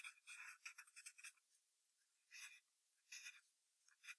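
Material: Paper.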